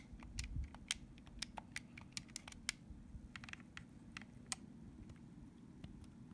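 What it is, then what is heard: Plastic game controller. Fingertips tap and press the plastic buttons and thumbsticks of a purple plastic Nintendo Switch GameCube-style controller, hollow and handheld-sized, lying on a soft blanket. About fifteen quick, dry clicks ring out at an uneven pace, each crisp and bright with a tone near 2.1 kHz. They die away almost instantly over a quiet, low background rumble.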